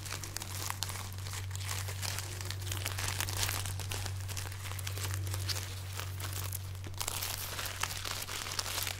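A long braid of dried, hollow, papery red chili peppers tied on a string is held up and crinkled and rubbed with long painted nails and fingertips. The clip is a steady stream of dry, bright crinkling and crackling over a constant low hum, with many dense, overlapping small rustles and snaps.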